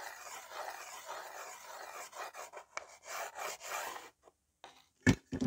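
Fingertips rub and scratch a white slate pencil back and forth across the surface of a small, flat, solid green-framed slate writing board with a few slate pencils resting on it. A steady, dry, raspy scraping runs for about two seconds, then breaks into shorter, separate strokes. After a brief silence, two sharper, louder clicks end the clip.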